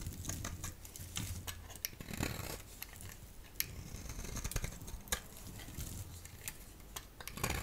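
A solid rectangular yellow Duru bar soap, held in the hand, is shaved into strips with a utility blade. Crisp, bright scraping and cutting strokes come in quick, irregular succession, each ending with almost no ring, over a faint low rumble.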